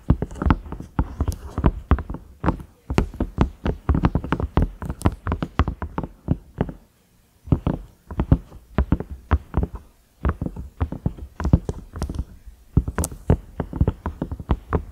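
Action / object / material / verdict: tap / silicone microwave lid / silicone / none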